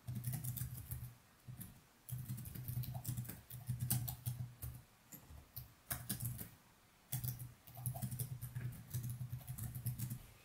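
Fingertips type quickly on the plastic keys of a laptop resting on a desk, with no mouse used. Bursts of soft, rapid key clicks with a low, thumpy body and faint bright ticks are separated by brief pauses, including a longer gap near the middle.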